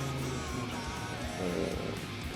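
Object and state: Nothing is struck.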